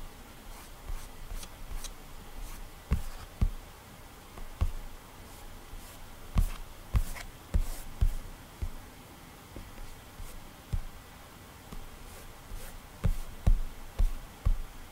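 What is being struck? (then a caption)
Glass tablet touchscreen. Bare fingertips stroke and rub across the solid glass touchscreen of an iPad lying flat with a drawing app open, drawing as they go. The sound is quiet and mostly low: soft swishing rubs broken by about a dozen dull, irregular taps and thumps from the fingers meeting the glass.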